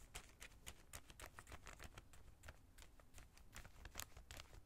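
A small clear plastic zip-lock bag holding white plastic collar stays, lying flat on a towel, is scratched and brushed with the bristles of a small brush. The result is a quiet, rapid series of short, bright scratchy crinkles and taps over a soft low rumble.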